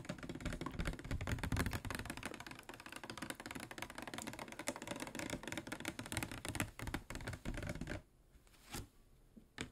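A medium-size, hollow, clear plastic PET water bottle with a white cap, which appears to hold water, is tapped rapidly with the fingernails of both hands. Dense, crisp clicks with a low hollow body run continuously for about eight seconds, then thin to a few isolated taps against near silence.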